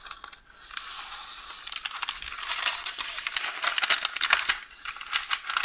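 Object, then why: Baking paper roll. Long orange nails scratch and tap a roll of beige parchment baking paper, with an unrolled sheet lying behind it. A dry, bright rustle and crinkle runs throughout, broken by many quick, sharp ticks that mostly sit in the upper range, with almost no low end.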